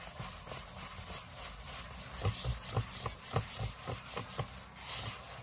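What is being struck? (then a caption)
Aluminium laptop lid. Short fingernails scratch the aluminium lid of a closed space-grey MacBook lying flat on a table. The result is a quick, uneven run of dry rasping strokes with a soft low body and a bright, hissy edge, growing louder and more distinct in the middle before easing off.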